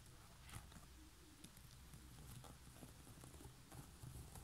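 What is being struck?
Woven straw basket lid.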